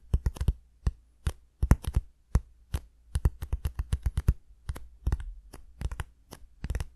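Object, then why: Cardboard shipping box. Fingertips tap and scratch the surface of a small, hollow brown cardboard shipping box held in both hands, then the box is lowered and turned. About thirty short, dry, crisp taps come in quick irregular clusters, each dying away almost instantly, over a steady low hum.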